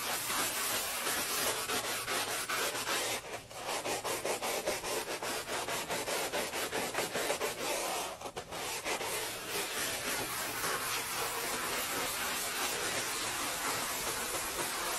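A red-gloved hand scrubs a large, solid, speckled granite countertop covered in white cleaning paste, working a blue sponge in circles. The scrubbing makes a steady, bright, gritty rubbing hiss with a rapid rhythmic texture from the strokes. It pauses briefly twice before carrying on at an even level.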